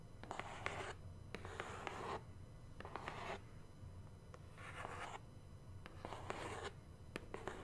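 Long nails scratch along the top edge and face of a large, hollow black cardboard subscription box. Repeated bursts of dry, raspy scratching rise and fade, with a faint low rumble underneath.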